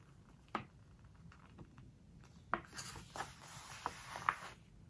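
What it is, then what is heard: Glossy paper book pages. A fingertip and nails rub and scratch along the glossy paper pages of a large open hardcover book, then the page is turned. Quiet, soft rubbing is broken by a few sharp, brief ticks centred around 1.2 kHz. A brighter, airy rustle swells in the second half as the page turns.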